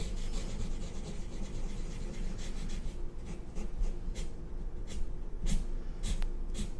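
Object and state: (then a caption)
Marker drawing on paper over a clipboard. A black felt-tip marker held in the fingers scratches and rubs across white drawing paper clipped to a cardboard or hardboard clipboard on a red table while inking a design. A steady, soft, low rasping rub carries through, broken by short bright scratchy strokes toward the end.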